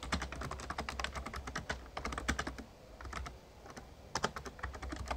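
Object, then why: Plastic membrane keyboard. Fingertips of both hands type rapidly on an RGB-backlit plastic Razer Ornata Chroma mecha-membrane gaming keyboard with a hollow casing. Quick, dry key taps patter in uneven bursts, each one brief and bright-edged over a steady low rumble. The typing eases off to softer, sparser taps for a moment before picking up again.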